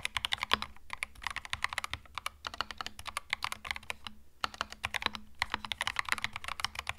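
Fingertips type continuously on a compact cream mechanical keyboard with plastic keycaps, producing dozens of quick, crisp, bright clacks with very short decay. A faint steady low hum sits beneath the rapid keystrokes, with brief pauses between bursts.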